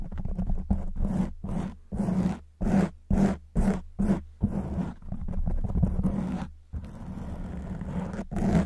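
Long white acrylic nails on both hands scratch quickly over a black porous foam windscreen on a silver microphone. The result is a series of rough, roaring scrapes in bursts, with deep rumbling lows and a hum-like tone near 190 Hz. Brief gaps separate the bursts before a longer, steadier stretch of scratching.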